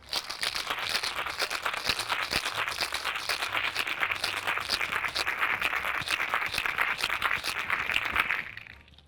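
A cocktail shaker holding liquid and ice cubes is shaken again after the earlier dry shake, giving a loud, steady, bright rattle of ice against the shaker for about eight seconds before it quickly stops. The shake chills and dilutes the drink, and the outside of the shaker turns cold, showing it has been shaken enough.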